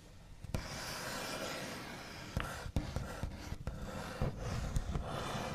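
The backs of the fingernails of both hands tap and rub across a large, solid, smooth white-finished wooden table top. A steady, dry scratching hiss runs throughout, broken by several sharp, short, low clicky taps that die away almost at once.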